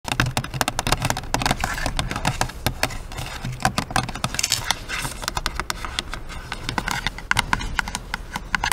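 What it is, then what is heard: Cardboard gift box with plastic window. A long, flat pink cardboard gift box with a clear plastic window, showing a hairbrush and scrunchies inside, is held in both hands and tapped and scratched with long acrylic nails. Quick, sharp clicking taps come in a dense, irregular stream over a low hollow thump and a bright scratchy rustle. Each tap dies away almost at once.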